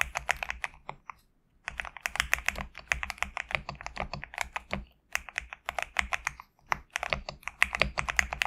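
Fingertips type in quick bursts on a compact GMK67 mechanical keyboard with PBT plastic keycaps, resting on a desk mat. Dense, bright, dry keystroke clacks come in rapid runs, separated by short pauses.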